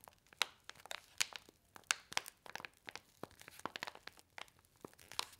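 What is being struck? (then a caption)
Paper-foil laminated soup sachet with dry powder. A single small, flat, red paper-and-foil laminated instant soup sachet with printed instructions, filled with dry powder, is held in both hands and squeezed and crinkled with fingertips and long white nails. It gives a quiet, rapid series of sharp, dry crackles and crinkles, bright and high with almost no low end, each snapping off instantly.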